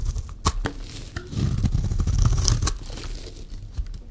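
A solid, rectangular, yellow-green dry soap bar held in the hand is shaved with a metal utility-knife blade. The blade makes a dry, crunchy scraping and tearing with a deep, low body, broken by several sharp, bright clicks as it bites into and breaks through the soap.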